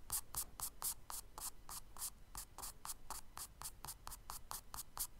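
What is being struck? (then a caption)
Charcoal stick on kraft paper sketchbook page. A charcoal stick scratches short hatching strokes for grass across the tan kraft paper page of a spiral sketchbook, resting on the solid paper surface. The result is a rapid, fairly steady series of dry, bright, papery scrapes at about four strokes per second, each short with almost no ring, over a soft low rumble.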